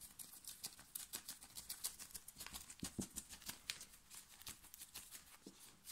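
Long nails of both hands scratch fast across a plain black cotton knit t-shirt worn on the chest. Quiet, rapid, irregular strokes make bright, hissy, scratchy bursts with very little low end, and each stroke stops dead with no ring.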